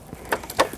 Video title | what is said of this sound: jt#미싱박사#주끼미싱 Hzl K65수리#미싱실끼우기#미싱사용방법#미싱고장택배수리#Juki Sewing Machine Repair#미싱#가정용미싱#미싱배우기.재봉틀.윤태용.페달 | 이렇게 손으로 두드려 봐서 몸체가 플라스틱이다 하면은